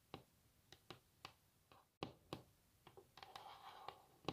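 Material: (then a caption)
Wood. Long natural fingernails of both hands tap on a solid varnished wooden tabletop, giving about a dozen quiet, short, dry clicks with almost no ring. The taps come in an uneven rhythm, growing denser with a faint continuous rustle between them near the end.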